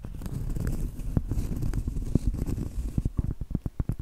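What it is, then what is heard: Round cork trivet. Long acrylic nails scratch and tap the surface and edge of a large, thin, flat, solid round cork trivet. The first few seconds are a muffled, low, continuous scratching, which gives way to a run of short, dull, dry taps with almost no ring.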